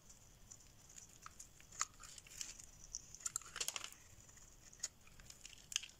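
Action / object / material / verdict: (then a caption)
scrape / bar of soap scraped with a metal blade / soap / none. A solid beige rectangular bar of dry soap, held in the hand, is scraped and shaved with a metal blade, sending off flakes and curls. The sound is quiet, dry and bright: crisp scratchy crinkles and short, sharp clicks over a faint background hiss. Each tick dies away almost instantly.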